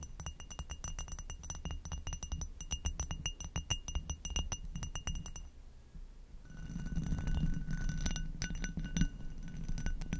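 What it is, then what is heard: Glass goblet tapped with fingernails. An inverted amber hobnail glass goblet, hollow and empty, is tapped and scratched with long nails, first around the foot and stem, then across the bumpy bowl. Quick, fast-decaying glassy clicks with bright ringing overtones give way after a brief quiet stretch to denser scratching and tapping over a low background hum.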